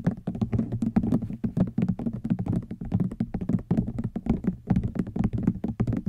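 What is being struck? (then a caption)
Woven rattan basket. Fingernails tap quickly on a hollow woven rattan wicker basket, making a rapid run of many short, dry knocks. Each tap is a low, woody thunk centered around 200 Hz with a faint bright click on top and almost no ring.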